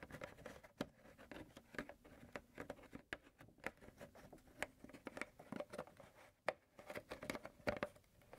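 A large white plastic milk jug with a yellow cap, apparently full and held in the hand, is tapped and scratched with fingertips and nails around the cap area. The result is a quiet, rapid run of short, dry clicks and taps, each with a faint hollow tone near 617 Hz, mixed with soft scratching between them. Each sound dies away almost at once.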